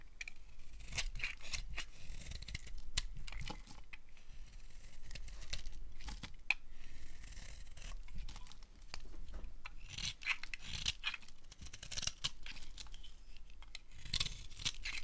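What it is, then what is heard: Dry bar soap being shaved. A solid oval bar of dry, dark green soap is shaved with a utility knife blade, peeling off curled strips. The clip is a steady run of crisp, dry scraping and tearing strokes with bright, crackly edges and short, quickly fading bursts.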